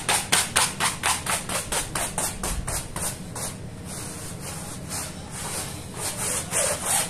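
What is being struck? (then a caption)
Woven fabric rug scrubbed with a bristle brush. A small, foamy woven fabric rug on a stone floor is scrubbed vigorously by hand with a hand-held bristle brush. Quick, bright, scratchy strokes come in a steady rhythm at first, blur into a continuous wet rubbing hiss midway, then return as distinct swipes over a faint low hum.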